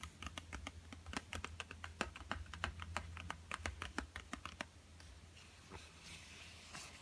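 Fingertips tap quickly on a small, flat, yellow Crayola cardboard box that is hollow and filled with coloured pencils, lying on a table. The result is a fast, uneven run of light, dry clicks over a low hum for about five seconds. The tapping then gives way to a soft, bright rustle.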